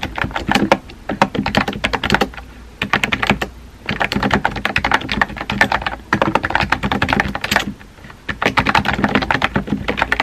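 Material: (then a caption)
Plastic. Fingertips with painted nails type rapidly on a compact pink plastic mechanical keyboard with a hollow body and round white-and-pink typewriter-style keycaps, resting on a desk. The key taps come in dense, clacky bursts separated by brief pauses. Each tap is short and dry, with a hollow low thock under a bright click.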